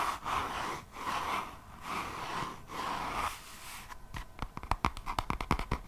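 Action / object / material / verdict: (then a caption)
scrape / paper page edges of a closed hardcover notebook / paper / none. Long nails scratch the paper page edges of a closed hardcover notebook held edge-on. Several slow, rasping strokes centered around 1 kHz give way to a quicker run of short, sharp scratching clicks.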